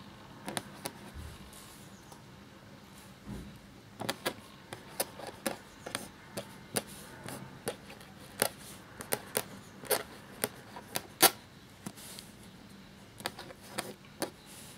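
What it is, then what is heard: Quill scratching on parchment paper. A black feather quill nib scratches across a thin, cream, parchment-style paper sheet lying flat while writing. Many short, bright, crisp scratching strokes sound in irregular bursts over a quiet background, each stopping almost at once.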